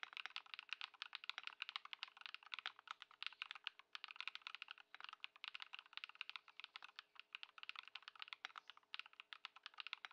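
Both hands type continuously on a modded white Ducky One 2 SF mechanical keyboard with plastic keycaps, fitted with Lumia Matcha and Poron foam, resting on a dark mat on a wooden desk. A fast, steady stream of short, crisp clacks sounds bright and dry, with no low thump. A faint steady tonal hum sits beneath the typing.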